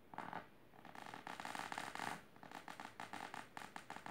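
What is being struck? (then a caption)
Fabric-covered storage box. Long silver nails scratch the fabric of a large pink patterned fabric-covered storage box or ottoman, including near its lower edge. Quiet, raspy scratching strokes come in rhythmic bursts, with a midrange papery hiss and some brighter texture, the later strokes shorter and more evenly spaced.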